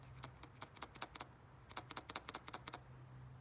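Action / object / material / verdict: shake / metal electric fuel pump / metal / loose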